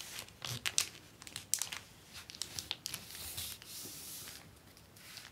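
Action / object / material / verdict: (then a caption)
scrape / plastic book-cover film sheet with paper liner / plastic film / none. Hands with long painted nails press, rub and scratch across a large flat sheet of clear acetate book-cover film on a white paper liner lying on a wooden desk. Bright, crisp crinkling and scratching come in quick uneven bursts, with sharper crackles early on and a softer sustained rustle later.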